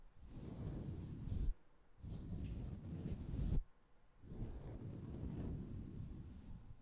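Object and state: Nothing is struck.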